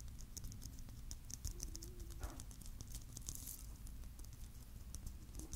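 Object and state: Glitter-filled plastic Christmas bauble.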